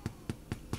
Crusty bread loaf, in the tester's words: it sounds hollow when you tap on it that's how you know that it's done